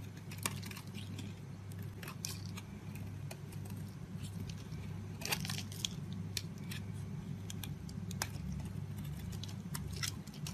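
A small metal blade scrapes and shaves the surface of a solid oval pale green bar of soap held in a hand with painted nails, its paper box nearby. Short, bright scratchy shaving strokes crackle irregularly over a steady low hum, each one dry and clipped with no ring.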